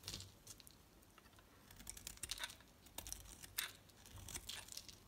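A utility knife blade shaves a solid red Arko bar soap held in the hand, with flakes piling up. Quiet, bright scraping and crinkly tearing strokes come in short bursts over a soft low rumble, each scrape dying away almost at once.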